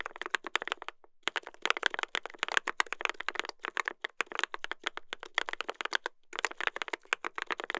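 Two hands type continuously with their fingertips on a mechanical keyboard with a brass plate and plastic keycaps. The result is a rapid stream of short, dry, bright clacks with a clear tone around 1.6 kHz. The typing pauses briefly near the 1-second mark and again just after 6 seconds.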